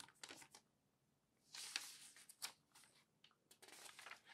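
An open newsprint newspaper lies flat on a table while hands smooth the page, then grip and bend a sheet corner to turn it, crinkling the paper. Quiet, bright rustles and crackles come in short bursts separated by near-silent gaps, with a longer, denser crinkle in the middle as the page turns.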